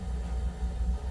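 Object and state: Nothing is struck.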